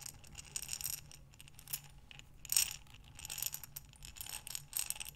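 A glass mason jar with a metal lid, full of buttons, is tilted and turned by hands with long nails. The buttons clink and rattle against the glass in quiet, bright, short-ringing clusters, with a low steady hum underneath.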